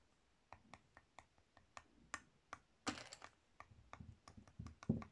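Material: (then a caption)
Soap. A solid pink soap bar held in the palm is scratched and carved with a metal blade tool with a purple handle, making repeated short scraping strokes. About 19 crisp, dry scrapes land at an uneven pace, each a quick bright click-like rasp with a soft low thump beneath, growing busier and fuller toward the end.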